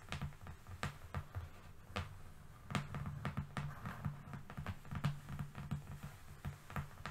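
A long, flat, thin brown cardboard strip lying on a fluffy rug is tapped with the long fingernails of both hands. The result is an uneven stream of quick, dry clicks over soft, low, hollow thuds, each dying away almost at once.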